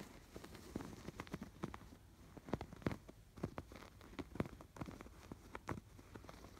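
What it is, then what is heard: Yarn-embroidered canvas pillow. Fingertips and nails scratch across the crossing stitch lines of a soft stuffed canvas pillow with raised blue and yellow yarn stitching. Quiet, irregular scratches and dry crackling ticks come in quick bursts, each one short, with no ring and most of the weight in the low range.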